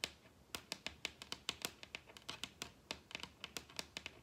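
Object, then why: Wooden tabletop. Long red acrylic nails tap rapidly on the large solid wooden tabletop of a dining table, making 23 quick, crisp clicks in about four seconds. Each tap is bright and sharp, with almost no low end, and dies away instantly with no ring.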